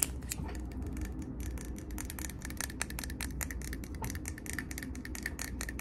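A medium glass jar candle filled with solid cream wax, lid on, is held close and tapped quickly with fingernails on its glass body. The result is a rapid, continuous stream of sharp, bright clicks with very short ring, over a steady low hum.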